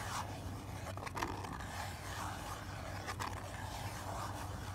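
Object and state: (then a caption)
Cardboard box scratched and tapped by fingernails. Long black nails scratch and tap the inner base of an open lilac cardboard box with a printed card insert, held in the hand. Dry, papery scraping is heard with a few brief, bright taps that die out almost at once, over a steady low hum.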